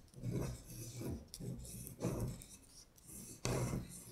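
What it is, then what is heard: Paper sheet scratched with nails. Long pointed acrylic nails trace and scratch along the printed letters of a thin paper sheet printed with "Winter Bear," lying flat on a glittery surface. Repeated soft, raspy scratching strokes swell and fade, with most of the energy in a low, dull rustle and a faint bright hiss on top.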